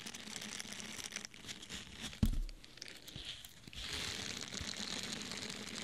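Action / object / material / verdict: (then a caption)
scrape / foam sponge / foam / none. A small, soft, solid orange porous foam sponge is held in the hand, squeezed and scratched with fingernails. It makes dry, crinkly scratching with a bright hiss, broken by one sharp, low thump near the middle. A steadier, brighter rasp follows to the end.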